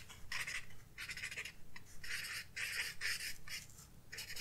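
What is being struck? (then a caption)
Paper blending stump on a graphite-shaded paper sketchbook page. A paper blending stump is rubbed back and forth over graphite shading on a flat paper sketchbook page. Soft, bright scratchy strokes come in repeated bursts with brief gaps between them, over a faint low background hum.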